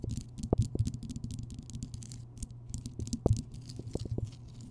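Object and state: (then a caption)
Rock salt lamp. Long fingernails tap and scratch quickly across the rough surface of a large, solid, lit Himalayan rock salt lamp. Quick, dull taps mix with bright, dry scratching bursts over a steady low hum. The taps stop short with almost no ring.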